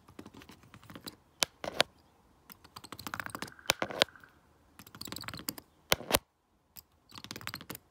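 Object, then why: Plastic remote control with rubber buttons. A stone face roller is rolled by hand over the colored rubber buttons of a flat, hollow plastic LED remote control, clicking them. Bursts of rapid, bright plastic clicks and rattles come with pauses between them, and a few louder, sharper clicks stand out.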